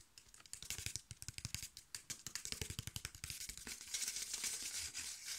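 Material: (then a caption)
Cardboard. A thin, flat piece of brown corrugated cardboard, held in one hand, is tapped and scratched quickly with fingertips and nails. It makes rapid, irregular, crisp papery taps that blend into a continuous bright scratching toward the end.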